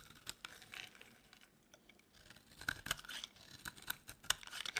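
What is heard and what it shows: A utility knife blade scrapes a dry, solid pink oval soap bar into flaky shavings. Quick, dry, crisp scrapes and crackles come in an irregular series, bright and high with almost no low end. Each stroke ends abruptly with no ring, and the strokes grow louder and denser in the second half.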